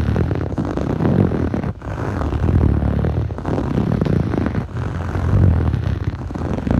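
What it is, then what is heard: Foam yoga mat being scratched. Short fingernails scratch fast across a blue textured foam yoga mat, a soft solid sheet. The result is a dense, muffled, low rumbling scratch with almost no bright edge, running continuously with brief dips near 1.7, 3.4 and 4.7 seconds.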